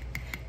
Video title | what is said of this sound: Bruschetta forgetaboutit | it sounds full now like it doesn't sound hollow